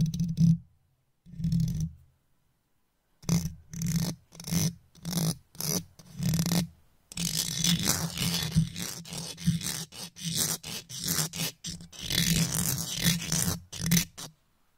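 A wooden toothpick held by long-nailed fingers pokes, taps and scrapes along the hollow metal mesh grille of an uncovered microphone head. Short, separate bursts of scratchy, bright scraping give way after about seven seconds to near-continuous rapid scraping and tapping, all over a boomy low rumble.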